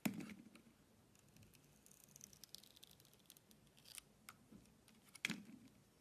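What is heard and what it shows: A box-cutter blade slices layers off a solid green and white striped bar of soap with a blue coating, held in the hand. Sharp, bright scraping cuts stand out at the start and near the end, with soft crisp shaving and crumbling sounds between them.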